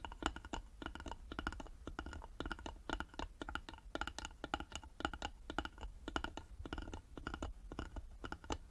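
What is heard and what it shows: Long nails rapidly tap and scratch the wooden sides of a small, hollow, carved wooden jewelry box held in both hands; the box has a metal plaque on its lid and a metal clasp. Quiet, dry, clicky taps with a hollow tone around 1.4 kHz die away almost instantly, mixed with soft scratching over a steady low background rumble.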